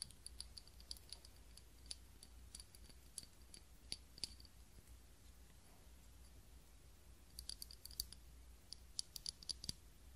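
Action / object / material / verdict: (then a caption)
tap / small ribbed glass tealight cup / glass / none. Long nails tap and click on a small clear ribbed glass cup holding a lit tealight candle. The taps are quick, bright clicks with a faint high glassy ping that dies away almost instantly, over a steady low hum. They come in scattered clusters at the start, a sparser stretch in the middle, and a busier flurry near the end.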